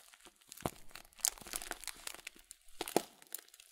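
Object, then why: Plastic cereal bag filled with oat flakes. A full blue Kölln plastic bag of oat flakes, about 500 g with a folded top, is squeezed and crinkled with the fingertips of both hands. Bright, dry crinkling and crunching come in quick irregular bursts, with a few sharper cracks standing out over soft rustling.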